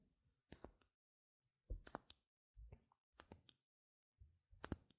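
Long red nails tap and scratch the face and rim of a single small, solid, white-rimmed round plastic game gem token held in the palm. Quiet, bright, dry clicks and short scratchy scrapes come in brief bursts, some with a soft low thump, separated by silence.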